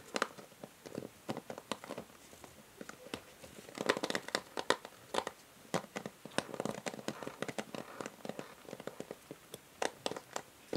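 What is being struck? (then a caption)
Plastic paddle hair brush. Long nails tap and scratch the grey plastic back and rim of a paddle hair brush with white plastic bristles, held sideways. Quick, dry clicks and light scratchy rasps follow one another in irregular bursts, each dying away almost instantly. The sound is thin and bright with almost no low end.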